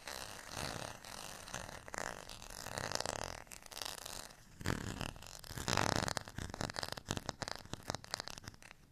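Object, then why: Ridged plastic rice paddle. Fingernails scratch the ridged surface and rim of a beige textured plastic rice paddle held edge-on in the hand. The result is a continuous, rough, buzzing rasp with a low fluttering drone. Louder bursts come near three and six seconds, then the sound breaks into quicker, choppy strokes toward the end.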